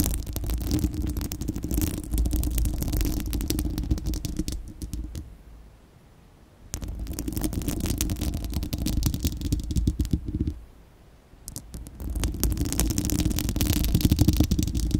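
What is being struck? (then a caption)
Steel wire-mesh microphone grille. Long acrylic nails on both hands scratch a bare, hollow, fist-sized spherical steel wire-mesh microphone grille. The result is a dense, rapid, rumbling scrape heavy in the low end, with fine bright crackle on top. It comes in three sustained bursts separated by two brief near-silent pauses.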